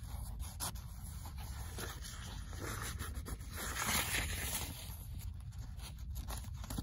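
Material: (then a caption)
Paper. Long nails scratch and tap across the paper pages of an open paperback book held in hand. The result is a steady, dry, papery scratching with soft, quick taps mixed in, bright hiss over a low, muffled rumble, swelling slightly louder near the middle.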